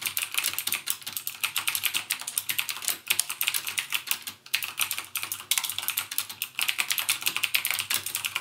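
Fingertips type rapidly on a backlit plastic mechanical gaming keyboard with clicky Cherry MX Blue switches. The result is a fast, steady stream of sharp, bright clicks with almost no low end, with brief pauses between bursts.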